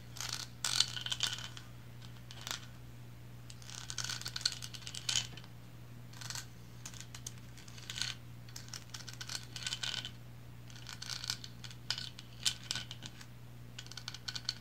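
Long blue nails tap and scratch the textured bands of a small painted resin lighthouse figurine held tilted in the hand. Quick, bright clicks and dry scratching come in clustered bursts separated by short pauses, over a steady low hum.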